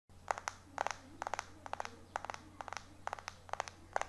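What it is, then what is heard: Glass-backed phone tapped with fingernails. Fingertips and short nails tap and scratch fast across the glass back of a small, solid white iPhone 4 held in one hand. Quick clusters of sharp, clicky taps come in bursts of two to four, each dying away almost instantly, with a faint scratchy hiss between them over a low steady hum.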